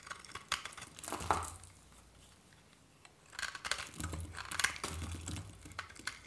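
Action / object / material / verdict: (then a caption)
scrape / bar soap scraped by a metal knife / soap / none. A metal knife scrapes and cuts thin flakes from the surface of a solid, white, hand-sized bar of varnished dry soap held in the palm. Dry, crisp crunching and crinkling scrapes come in quick bursts, with a quiet pause in the middle before another run of bright, gritty cuts.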